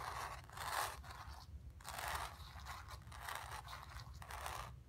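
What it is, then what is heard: Nails scratching a painted stretched canvas. Long nails scratch the surface of a square, acrylic-painted stretched canvas on a wooden frame, hollow behind, resting on carpet. Dry, rasping scratch strokes come in uneven bursts, centered in the midrange with bright, hissy edges, over a steady low rumble. Each stroke stops quickly with little ring.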